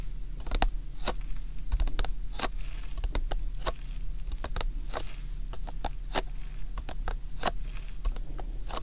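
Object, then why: Cardboard tea-bag box. Fingertips with short nails of both hands tap and scratch a closed, rectangular Lipton tea-bag box of printed cardboard, hollow and likely full of tea bags, standing upright between the ears of a binaural mic. Quick, dry, bright clicks and short scratches come in an irregular, typing-like patter, each dying away almost at once, over a steady low hum.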